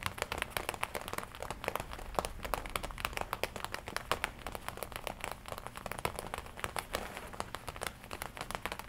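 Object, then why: Leather jacket front panel. Fingertips and long nails tap and scratch the red leather front panel of a worn black and red leather biker jacket. Dense, rapid, dry taps with crinkly scratching run throughout, each click short and bright with almost no ring.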